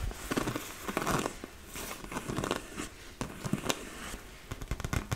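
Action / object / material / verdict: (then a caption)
tap / inflated PVC vinyl beach ball / vinyl / none. Long nails tap and scratch the surface of a large, hollow, inflated yellow and blue PVC vinyl beach ball. The result is an irregular run of sharp, crinkly taps and rasping scrapes with a bright crackle over soft, hollow low thumps.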